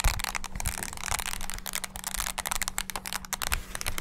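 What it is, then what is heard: Plastic mini keyboard, keys tapped. Fingertips rapidly press and tap the keys of a small black handheld plastic mini wireless keyboard. A dense run of sharp, dry plastic clicks and clacks with bright, crisp edges rolls on without pause, over a faint steady low hum.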